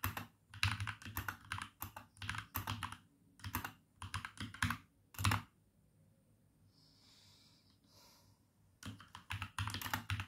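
Fingertips with short red-painted nails type on a compact RGB-backlit mechanical keyboard with dark grey plastic keycaps and a few red and orange accent keys, resting on a wooden desk. Bursts of rapid clacky key-switch presses with a low thocky body and brief bright clicks come in quick runs. The typing stops for about three seconds, leaving only faint soft noise, then resumes.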